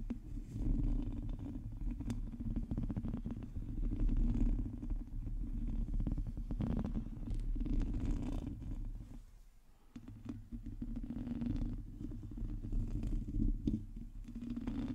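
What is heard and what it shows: Long painted nails of both hands scratch around the hollow domed metal mesh grille of a black microphone, producing a dense, rapid, deep rumbling scrape with crackly bursts. The sound stays heavy in the low end, dips briefly near the ten-second mark, and then resumes.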